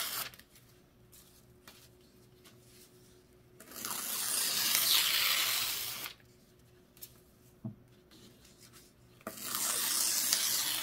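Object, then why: Thin paper sheets. Fingertips press and rub along a loose stack of thin white printed paper sheets lying flat on a white table, smoothing and creasing them beside some torn scraps. Two long, bright, hissing bursts of rustling and crinkling stand out against quiet stretches with faint soft ticks and rubs.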